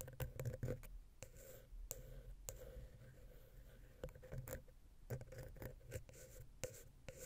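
A wooden ear pick taps and scratches the center of the silver metal XY stereo capsule on a Zoom H6 recorder. The result is a quiet run of short, dull, bass-heavy knocks, each with a faint ringing tone near 500 Hz, between soft scratchy rubbing. The knocks die away almost instantly.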